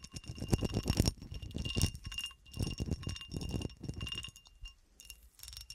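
A solid cut glass horseshoe stands on a table, held at one end, while fingernails scratch and tap its ridged surface. Bursts of rapid scratching and clicking taps carry dull low thumps and thin, bright glassy ringing, separated by brief quieter gaps.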